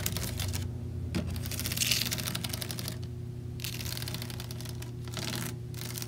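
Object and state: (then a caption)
Plastic fan grille. Long nails tap and scratch across the logo plate and grille bars of a white plastic box fan's front grille, set in its hollow frame. Quick, dense clicking taps come in bursts with bright, scratchy rasps between them, all over a steady low hum.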